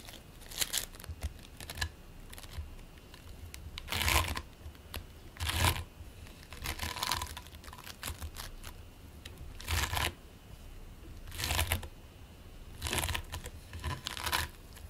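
Fingertips squeeze, knead and press flat a single hand-sized lump of mixed purple and green polystyrene bead play foam, solid and squishy, resting on a white plate. Soft, irregular bursts of bright crackling and crinkling rise over a quiet low rumble as the beads are compressed, then fall away between presses.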